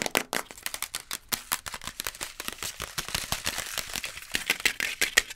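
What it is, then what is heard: Instant noodle cup (cardboard/plastic pot). A sealed, full Maggi instant noodle cup, a printed cardboard/plastic pot held in both hands, is tapped and scratched rapidly with long nails across its lid and printed side walls. The result is a fast, dense stream of dry, bright clicks and scratchy crinkles with almost no low end, each tap dying away instantly, and the strongest taps come near the end.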